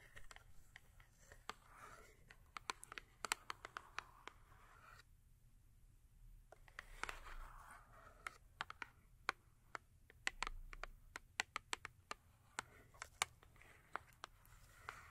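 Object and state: Cardboard soap box tapped with nails.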